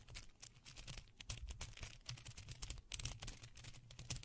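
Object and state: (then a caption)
Plastic bead necklace clicking. Two long strands of small white faux pearl beads, likely plastic and hollow-looking, are held in both hands beside a microphone without touching it and gently shaken and rolled between the fingers. The beads give off dense, rapid, quiet clicks against each other, with bright ticks over a low soft rumble.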